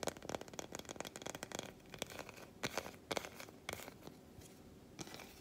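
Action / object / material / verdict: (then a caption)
tap / milk chocolate bar / chocolate / none. Long white acrylic nails tap and scratch a solid, flat, unwrapped milk chocolate bar held in the hands, which is turned between its smooth back and its segmented front. A rapid flurry of dry, bright clicking taps gives way to softer scratching broken by a few sharper taps, each dying away instantly with no ring.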